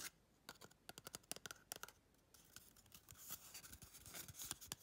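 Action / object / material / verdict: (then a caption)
tap / cardboard tube / cardboard / none. Long red chrome nails tap and scratch the outer surface of a small, hollow, empty brown cardboard toilet paper tube. Quick, dry, bright clicks with no ring come in a rapid burst, then give way to a steady, crisp scratching rasp dotted with more fast taps. The overall level is quiet.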